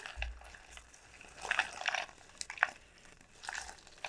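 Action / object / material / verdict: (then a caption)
tap / dried gourd shell / dried gourd / none. Long painted nails tap and scratch the hard, hollow shell of a large, elongated dried gourd sold as a pumpkin, lying on a felt mat. Quiet, dry crinkling scrapes are broken by short, bright clicking taps that die away almost instantly. The bursts come in clusters with soft pauses between them.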